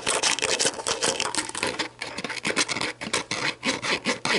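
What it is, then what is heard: Empty plastic bottle. Long black nails scratch the label of an empty, hollow, clear plastic sports drink bottle lying on a table with its orange plastic cap on, then tap and scratch around the cap end. The sound is a rapid series of bright, dry, rasping scrapes and light taps with almost no low end and very short ring.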